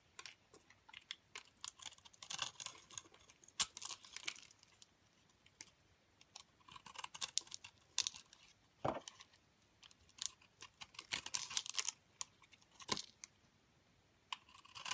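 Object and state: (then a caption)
Glitter-coated soap bar being carved. A metal craft blade scrapes and cuts curls and powder off the side of a hand-sized, cream-colored solid soap bar with a gold and red glitter outer layer, held in the fingers. Quiet bursts of crisp, bright scraping and crackling come in irregular runs, mixed with sharp ticks and short silent pauses. The sound is almost entirely high with very little low end.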